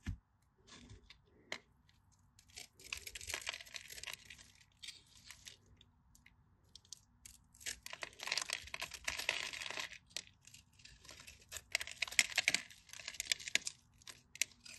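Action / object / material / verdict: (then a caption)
scrape / bar of soap / soap / none. A solid, cream-colored, hand-sized bar of dry soap is held in the fingers while a craft knife blade scores and scrapes its surface, and short blue nails press the scored edge. The result is quiet bursts of dry, bright scraping and crumbly crunching, mostly high hiss with many tiny crackles and almost no low end.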